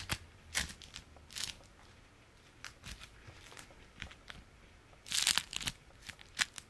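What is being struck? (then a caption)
Beeswax-coated fabric food wrap. A folded stack of beeswax-coated fabric food wrap is held in the hands and scratched and squeezed with the fingers and nails. It gives bright, dry crinkling and crackling bursts at irregular intervals over a quiet background, with a louder, denser flurry of crackles near the end.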